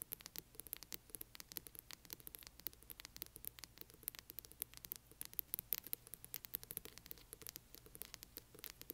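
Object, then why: Hardcover book spine. Long nails on both hands rapidly scratch the spine of a large hardcover book. The result is a dense, quiet patter of sharp, bright scrapes and clicks with a faint low hum beneath.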